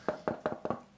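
Knuckles rap on the back of a weight-relieved, not fully chambered Les Paul solid-body electric guitar's wooden body in a quick series of dry knocks. Each knock gives a short, hollow, mid-heavy resonant tone centered around 600 Hz that dies away almost at once, and the resonance reveals that the body is weight relieved.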